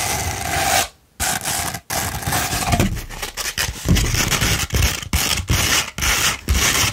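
A rolled tube of sandpaper is scratched with the long nails of both hands. Harsh, gritty rasping strokes cover the range from deep to bright. The strokes come in bursts separated by brief silent gaps.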